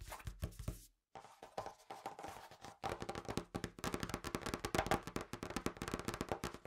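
A large, thick, solid, printed folded cardboard game board lying flat on a table is tapped and scratched across its surface with fingertips and short nails. Rapid, dry taps and scratchy strokes come in quick runs, pausing briefly about a second in, then growing denser and louder. Each tap dies away almost at once with a hollow, mid-toned knock.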